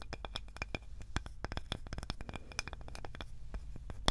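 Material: Wood.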